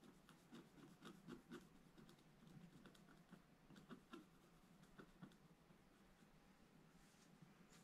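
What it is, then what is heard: Scratch-art paper scratched with a stylus. A pointed wooden stylus scratches a black-coated scratch-art paper page in a bound book, near the page's right edge. Quiet, dry, raspy strokes come in short bursts with a soft low-mid body and faint bright edges, each dying away almost at once.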